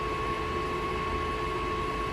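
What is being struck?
Nothing is struck.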